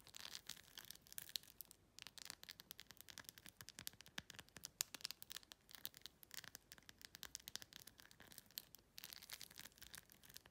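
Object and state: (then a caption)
Rhinestone-covered plastic phone case. Long nails rapidly scratch and tap across the gems of a clear plastic phone case covered in glued-on plastic rhinestones. The result is a quiet, dense stream of crisp, bright clicks and scratchy rasps, with almost no low end, broken by brief pauses near 1.8 and 8.9 seconds.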